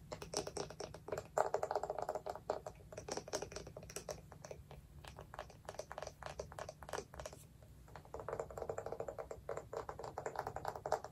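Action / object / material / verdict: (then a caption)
tap / small wooden jar with lid / wood / none. A small, hollow, round wooden jar with a lid is tapped rapidly with long nails on its lid and side. The result is a dense run of short, dry, hollow clicks with a woody mid-range tone that dies away almost instantly. The tapping eases off and softens briefly around the eighth second before picking up again.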